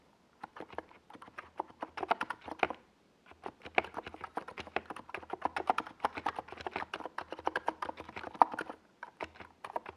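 A compact 68-key NiZ Plum Atom 68 mechanical keyboard with a white plastic hollow case and purple and yellow Domikey Gas Attack SA plastic keycaps is typed on rapidly with the fingertips of both hands while resting on a desk pad. Dense, crisp clacky key taps come in quick bursts with a brief pause near the three-second mark. Each tap is sharp and short, with a mid-range plasticky tone and little low thump.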